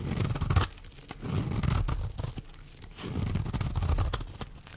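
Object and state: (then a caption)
Dry bar soap being scraped. A metal blade scrapes flakes off the face of a solid, dry pink oval bar of soap held in the hand. Three rough, low scraping passes sound with crisp, bright shaving ticks and crackles in between.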